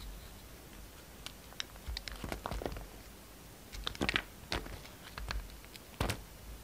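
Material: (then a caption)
Soap. A solid yellow and white striped soap bar, held in the palm, is carved with a utility knife blade. It produces short, crisp shaving and scraping crackles in irregular bursts, bright and dry with almost no ring, over a quiet low background.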